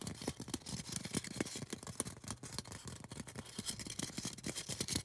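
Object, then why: Polystyrene foam cone. Long orange nails rapidly tap and scratch a tall, solid white polystyrene foam craft cone. The result is a dense stream of crisp, dry clicks and scratchy rasps that stop short with almost no ring.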